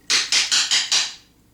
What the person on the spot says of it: Você pega o pêndulo de cristal e dá uma batidinha nele em cima de uma superfície.